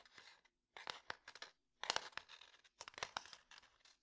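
Fingertips and nails tap and scratch the wood of a small, closed, rectangular light wooden box labeled DOMINO, likely full of dominoes. Crisp, dry clicks and bright, scratchy rustles come in irregular bursts separated by brief silences, each tap dying away almost at once.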